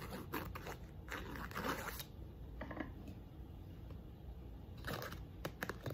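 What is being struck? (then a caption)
Small painted wooden block. Long nails scratch and tap the face and thick edges of a small pink painted wooden block box. Quiet, dry scraping bursts alternate with soft, short taps over a low, steady background rumble. A few sharper taps close the clip.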